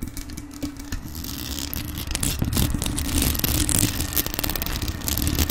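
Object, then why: Metal desktop microphone with mesh grille and rhinestones. Long nails and fingertips tap and scratch the mesh grille and jeweled body of a hollow, rhinestone-decorated grey metal USB desktop microphone. Close, uneven tapping and scraping produce dense, crackly clicks over a boomy low thump and a faint steady hum, growing a little louder and busier as it goes.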